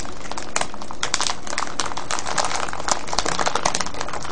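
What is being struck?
Cellophane bag of foil-wrapped candies.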